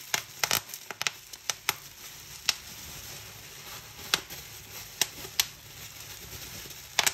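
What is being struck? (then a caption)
Plastic bubble wrap sheet. Fingers twist a clear plastic bubble wrap sheet, popping bubbles and crinkling the film. About fifteen sharp, bright pops come in an uneven scatter, dense in the first two seconds and sparser after, over a soft steady rustle of the plastic.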